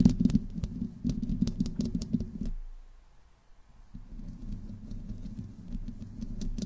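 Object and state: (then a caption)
Metal mesh microphone grille scratched. Long nails scratch and tap the sides of the metal mesh grille on a black condenser microphone, producing a close, boomy low rumble dotted with quick bright clicks. The scratching pauses to near silence for about a second and a half midway through, then resumes in a steady, softer patter.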